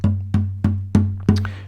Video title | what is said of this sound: How to work out the body pitch of you guitar. | you tap the soundboard in the area where the bridge would be located, and you get this note.